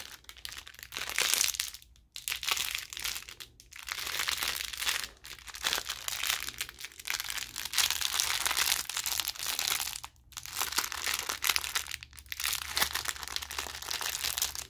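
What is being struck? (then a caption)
Thin plastic wrapper around a gauze bandage roll. Fingertips squeeze and rub a small clear plastic wrapper around a white gauze bandage roll, producing a steady, bright, dense crinkling. The crackle comes in bursts separated by brief near-silent pauses, with no deep low end.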